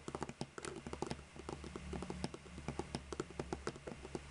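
Long nude-polished fingernails tap and scratch across the caps of seven identical hollow plastic Copic markers lined up in a row on a white table. About two dozen quick, dry plastic clicks sound in an uneven rhythm, each dying away almost at once, with light scratching between them over a low, steady hum.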